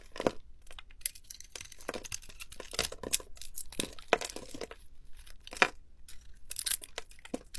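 A metal blade scrapes across a solid, palm-sized green bar of soap held in one hand, shaving its magenta glitter coating off in curls. Each stroke gives a crisp, dry, crackling scrape like tearing or crinkling, with bright hiss and short sharp peaks that stop dead. The bursts repeat irregularly throughout, with quiet gaps between strokes.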